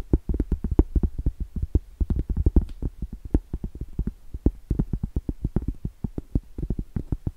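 Long blue stiletto acrylic nails tap quickly on the face and then the edge of a round, solid cork trivet. The result is a dense run of dull, muffled taps that are mostly low and thuddy, with a faint bright click on each and almost no ring.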